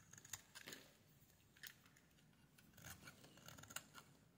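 A metal blade scrapes a solid pale pink bar of soap, shaving off thin curls. The sound is a run of quiet, dry, crisp scratches with bright high edges, several sharp ticks standing out between softer rasping strokes.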